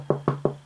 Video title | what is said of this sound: Monopoly Mania! Platinum Edition Monopoly Board Game Review - Board Game Night | It's really solid, as you can hear by my knocking on it.